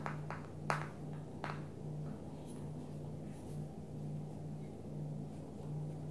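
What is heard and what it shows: Long natural nails and fingertips tap the back and edges of a small, hollow, flat black smartphone held in both hands, its matte plastic back or case facing out. A few short, bright clicks come early, then quiet follows, all over a steady low hum.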